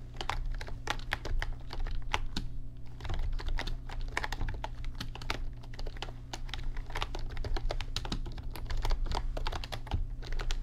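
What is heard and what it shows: Fingertips of both hands type continuously on a backlit RGB mechanical computer keyboard with plastic keycaps. The result is a steady stream of sharp, short clacks that ring bright over a constant low hum.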